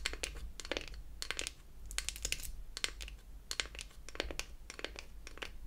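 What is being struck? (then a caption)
Small beech-wood toy palette. Long acrylic nails tap and scratch the flat wooden back of a closed beech-wood toy eyeshadow palette. Quick bursts of dry, bright clicks are heard, with brief scratchy rasps between them. Each click stops dead, over a faint low hum.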